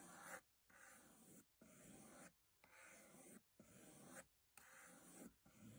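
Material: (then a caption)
Metal. A metal box is tapped, scraped and brushed in a series of repeated, fairly quiet broadband rasping strokes separated by short pauses. The strokes have a dry, hissy texture, with some knocking and clicking.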